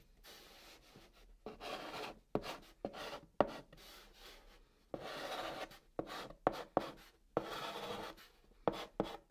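A white chalk stick held in the fingertips writes and draws a heart on the top of a large, flat, hollow brown cardboard box. Bursts of dry, rasping scratches sweep across the surface between pauses, with sharp little ticks where the chalk strikes and lifts.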